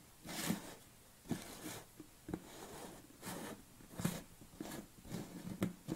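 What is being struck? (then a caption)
Plastic tub lid. Fingernails scratch and tap the top of a yellow plastic lid on a tilted red BCAA tub. Soft, scratchy brushing strokes with bright hiss alternate with short, dull plastic taps that have a low body and die away almost instantly, all at a quiet level.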